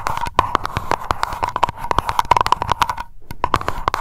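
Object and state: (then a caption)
Glass candle jar. Long acrylic nails tap quickly on the bottom and sides of a small wax-filled glass aroma candle jar labeled Lavender, which rests on the microphone. A dense run of sharp, dry clicks carries a steady glassy ring near 960 Hz, with a brief pause just after the three-second mark before the tapping resumes.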